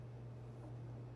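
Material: Nothing is struck.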